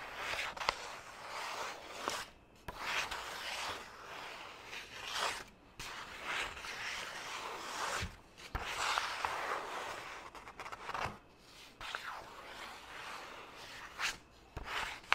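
A single white sheet of printer paper is held in the hand while fingertips scratch and rub across it. The result is a continuous dry, rasping rustle with bright hiss and little low end, swelling and fading in uneven strokes with a few sharp clicks along the way.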